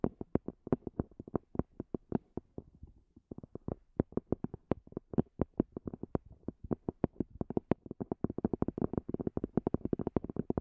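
A small black zippered EVA hard-shell earphone case, with a hollow, semi-rigid shell and a textured fabric cover, rests on a fluffy rug and is tapped on its top surface with long glossy fingernails. The result is a steady stream of short, dry, hollow clicks with a low-mid body and almost no ring. The taps come in quick runs and grow faster and denser toward the end.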